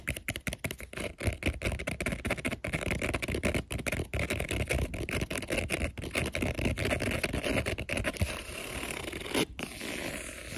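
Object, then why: EVA foam puzzle floor mat. Fingertips and nails scratch and rub quickly across colorful interlocking EVA foam puzzle floor mat tiles, which are thin, flat and solid with a textured surface. The result is a dense run of fast, dry scraping strokes with a soft low thump under each one. Near the end the strokes blur into a smoother, steadier rubbing hiss.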